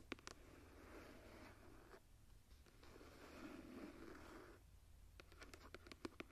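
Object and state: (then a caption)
Embossed leather journal cover. Long nails tap and scratch the embossed floral cover of a closed, tooled leather journal as it is held and then set down. A few sharp taps open into long, raspy scratching strokes across the textured leather, followed by a burst of quick, bright clicking taps at the end.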